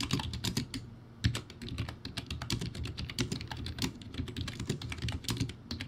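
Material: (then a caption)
Plastic. Fingertips type quickly on a backlit, poor-quality plastic typewriter-style keyboard with round white plastic keycaps. Rapid, bright clicks ride over hollow low clatter, with a brief lull near the one-second mark before a sharp, louder keystroke. The typing then continues in a dense, uneven stream.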